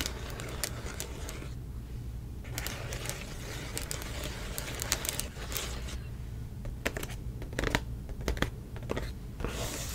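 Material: Plastic.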